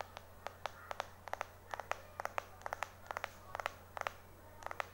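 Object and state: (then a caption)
Glass-backed phone tapped with fingernails. Right-hand fingertips and short nails quickly and aggressively tap the glass back of a small, solid white iPhone 4 held in the left hand. About 19 sharp, dry clicks come in quick clusters, each bright and stopping almost instantly, over a faint steady low hum.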